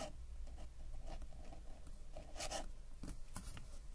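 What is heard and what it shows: A metal-nib dip ink pen, held in the fingers, scratches across a flat paper sketchbook page while writing. Quiet, dry scratching strokes come in bursts with bright, brief rasps over a steady low hum.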